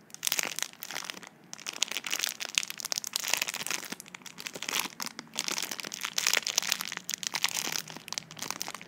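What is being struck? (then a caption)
Small tube sealed in plastic film. Long nails tap and scratch the clear plastic film sealing a small tube, while fingertips crinkle it. The result is a dense run of bright, crackly crinkles and quick dry taps, with no low end and no ring after each sound.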